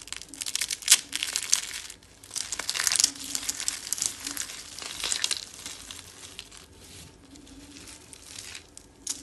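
A hand with long dark-painted nails crushes a dry white soap rosette made of curls, with flakes piled around it. The result is dense, bright crunching and crumbling crackles, loudest in the first few seconds and then fading to softer crinkling.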